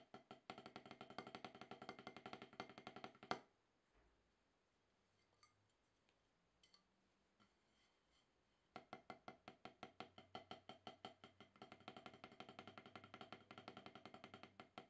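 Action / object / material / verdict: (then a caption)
strike / rubber-topped drum practice pad struck with wooden sticks / rubber / none. Two wooden drumsticks tap alternately on a solid octagonal rubber-top snare practice pad, making quick, dry, short knocks with a woody midrange tone and almost no ring. A fast, steady run of strokes stops abruptly at about 3 seconds, leaving a quiet pause with a few faint taps. Then the rapid alternating strokes resume and continue to the end.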